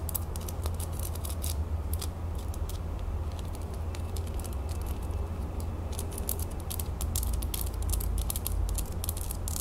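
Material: Metal.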